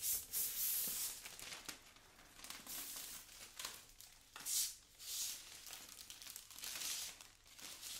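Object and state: Thin plastic film sheet.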